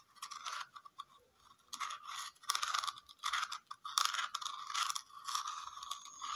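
A round red plastic lid with a raised dotted texture is scratched and tapped with fingernails. Dry, crackly scratching and light clicking taps come in irregular bursts, bright and thin with no low end.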